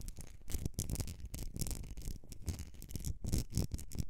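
Long nails scratch and tap the sides of a medium etched glass candle jar filled with solid wax. The result is a dense, continuous run of dry scratching strokes and quick taps, heavy in low rumble with bright bursts on top and very short ring.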